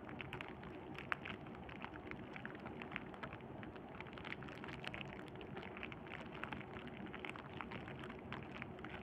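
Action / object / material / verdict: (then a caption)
scrape / plastic bubble wrap / plastic / none. Clear plastic bubble wrap is held in both hands and pressed and squeezed between the fingertips and thumb. It makes a steady, dense crinkling and crackling, dotted with many small, sharp snaps across the whole clip. The sound stays at an even, soft level throughout, with its brightest clicks peaking in the upper-middle range.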